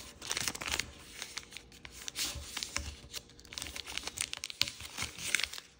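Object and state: Thin origami paper being folded.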